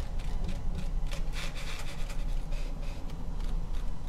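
A small hollow orange glitter-coated foam or plastic jack-o'-lantern with a carved face, held in both hands, is tapped and scratched with long painted nails. The result is a steady, low rubbing texture with soft bright scratchy bursts, smeared by an added echo/delay effect.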